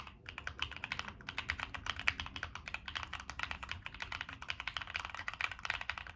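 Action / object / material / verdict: tap / mechanical keyboard with plastic keycaps and metal case / plastic / none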